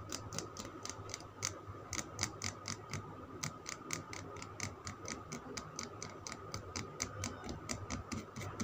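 Fingernails tap and scratch a solid green Lux soap bar held in the palm. The result is a quick, uneven run of short, dry, bright clicks over a soft, grainy scratching bed, with a faint steady tone underneath.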